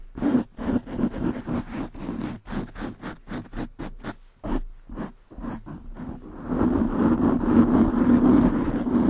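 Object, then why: Foam microphone windscreen. Long nails scratch the sides and top of a black foam windscreen on a desktop microphone, making a rapid series of short, rough scratching bursts with a low hum-like band around 230 Hz. After about six seconds the strokes merge into louder, continuous scraping that lasts to the end.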